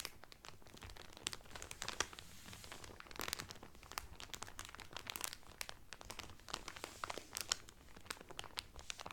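Fingertips and nails crinkle the clear cellophane wrapper around a blue Carnival cotton towel folded flat. A steady stream of crisp, bright crackles and sharp snaps pops over a soft rustle. Each crackle stops almost instantly.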